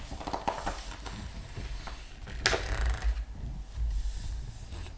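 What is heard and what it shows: A flat hand rubs the glossy paper pages of a large open art book with its fingertips while the other hand lifts and turns a page. Soft papery rubbing and scattered crisp ticks sit over a steady low rumble, with a brighter, louder swish of the turning page about halfway through.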